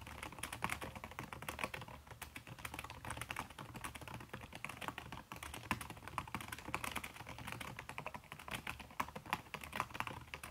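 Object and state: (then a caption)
Laptop keyboard with silicone cover, fast typing. Fast typing with fingertips and long red-painted nails on a backlit aluminium laptop keyboard with plastic keys under a red silicone skin. It gives a dense, continuous stream of soft, short clicks with a low rumble beneath, and brighter taps standing out now and then.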